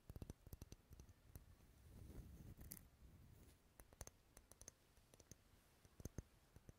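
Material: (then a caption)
Wax. Long nails tap the side and top of a large, dark red, unlit solid wax pillar candle held close to the mic, making quick, dry clicks that stop almost instantly. Bursts of crisp tapping frame a softer, continuous scratching, rubbing passage in the middle. The sound is quiet and close, with a dull low body and bright clicky edges.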